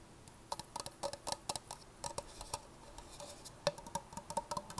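Long painted nails tap and scratch the sides and base of an empty, medium-size, hollow red plastic party cup held upside down. The result is a quick, irregular run of light, bright clicks with a faint hollow tone, each one dying away almost at once, with soft scratchy patter between them.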